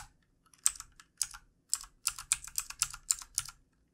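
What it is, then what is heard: Plastic computer keyboard being typed on. Fingertips of both hands type on the keys of a backlit plastic computer keyboard resting on a desk. The result is a quick, uneven run of short, bright, crisp clicks with almost no low end. Each tap dies away instantly, and the typing picks up and clusters more densely in the second half.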